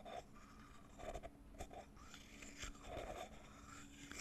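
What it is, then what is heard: Metal-lidded cosmetic tin. Long painted fingernails tap and scratch across the silver metal screw lid of a small cylindrical cosmetic tin with a grey labelled body and visible barcode, held in one hand. Six soft, dry taps stand out over a quiet, continuous scraping rustle, each dying away almost at once with no ring over a faint low hum.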